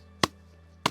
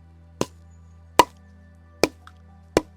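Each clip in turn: First: Two short, dull wooden knocks that die at once: a damp firewood log, not yet dry. Second: Four crisp wooden knocks, bright and clacky near 1 kHz, dying at once: dry firewood, faintly hollow.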